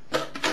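An acoustic guitar held flat is shaken, and a loose plastic pick rattles inside its body in three short, bright, scraping bursts over a hollow midrange resonance around 500 Hz. The rattle reveals a foreign object that should not be there, later confirmed to be the lost pick.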